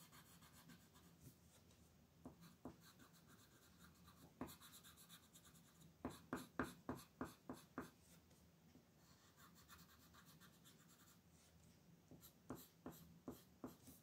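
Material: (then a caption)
Paper. A dark blue colored pencil makes scratchy outlining and coloring strokes across a flat paper coloring book page on a table, while the other long-nailed hand steadies the page. Quiet, faint scratching is broken by clusters of short, crisp pencil strokes, with the busiest run in the middle and another near the end.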